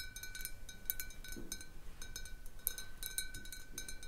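Long nails tap the sides and near the base of a large clear glass jar partly filled with water. Quiet, irregular bright clicks follow one another, each dying away quickly over a faint steady ringing tone and soft low background rumble.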